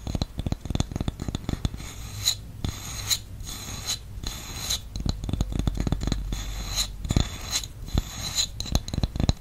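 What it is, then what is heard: Wooden lid scratched with nails. Fingernails scratch the top of a round, flat, solid wooden candle lid with an engraved logo, held in the palm of the other hand. A steady run of dry, raspy scrapes and quick ticks carries a low rumble underneath and bright, hissy edges, with some brief, louder strokes standing out.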